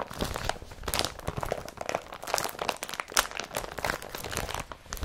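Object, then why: Woven polypropylene plastic carrier bag. Hands crumple and rub an empty blue IKEA BRATTBY carrier bag made of woven polypropylene. The result is a dense, continuous run of bright, crisp crinkling and crunching rustles with quick, sharp bursts and almost no low end.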